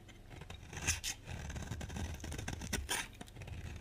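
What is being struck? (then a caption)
Bar of soap scraped with a blade. A utility box-cutter blade scrapes along the edge of a solid rectangular bar of dry lilac soap held in the hand, carving off curls. Dry, crackly scraping strokes come in bright bursts over a low, rough rumble.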